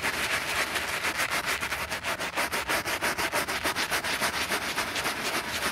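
A bristle brush scrubs foam across the side panel of a black grained, quilted leather handbag. The strokes come quickly and fairly steadily, making a bright, hissy scratching with a soft wet crackle and almost no low end.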